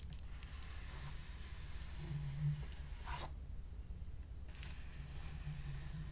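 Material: Plastic.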